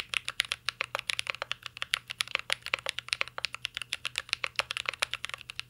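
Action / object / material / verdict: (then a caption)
tap / mechanical keyboard with plastic keycaps / plastic / none. Fingertips type steadily on a mint-green Cyberboard R3 mechanical keyboard with plastic keycaps and a metal case. The result is a rapid, continuous run of short, dry, bright clacks centered around 2 kHz, with very little low end and almost no ring after each keystroke.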